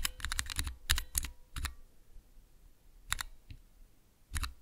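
A small Cherry MX switch tester with clear plastic keycaps, showing red and green switch stems, is pressed one key at a time with fingertips and long nails. The result is uneven bursts of sharp, bright clicks and clacks with low thuds, in quick clusters separated by brief pauses.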